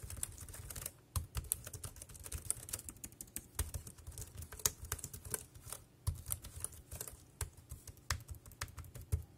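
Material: Plastic.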